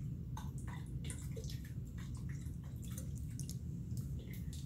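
A small clear glass jar with a green lid, partly filled with water, is held in one hand and shaken and tilted close to the microphone. The water sloshes and splashes inside in quick, drip-like bursts with bright glassy ticks, over a steady low rumble.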